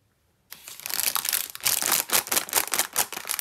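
After half a second of silence, long red-nailed fingertips grip and squeeze the red plastic-film wrapper of a full Bonitki chocolate cookie pack, about 20 cm long, resting on a green mat. The crinkling and rubbing come as bright, crisp, irregular bursts of plastic crackle that rise and fall with each squeeze, with almost no low end.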